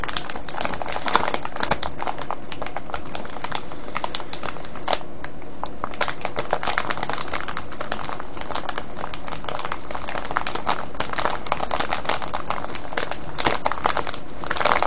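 Fingertips crinkle, press and scratch a clear plastic cellophane bag with a red tag, full of foil-wrapped candies, resting on a table. Dense, continuous crackling and crinkling fills the whole clip, with many sharp bright ticks over a steady low rustle.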